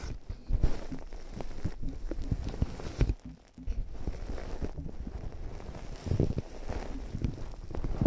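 Long nails and fingertips tap the hollow earcups of white plastic over-ear headphones fitted over the ears of a binaural microphone. The result is a steady run of quick, dull, low-pitched thumps with almost no ring and very little high end. The tapping pauses briefly in the middle, then picks back up.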